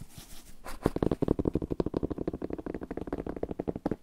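An old paper book is tapped. After a faint soft rustle, a rapid, uneven run of about 19 dull, muffled taps follows at roughly four per second, each one short with no ring.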